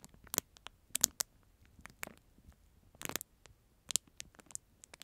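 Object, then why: Plastic spoon in thin plastic film wrapper. Fingertips tap, rub and crinkle a clear, thin plastic film sleeve holding a disposable plastic spoon, held close beside the microphone. Quiet, bright, crisp crackles and snaps come in scattered bursts over near silence, each dying away almost instantly with almost no low end.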